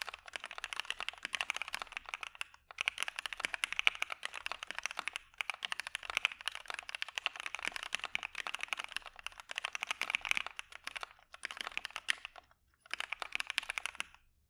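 Fingertips of both hands type on a dark mechanical keyboard with white PBT keycaps, producing rapid, bright clacks in bursts separated by brief pauses. The strokes are crisp and short with almost no low end.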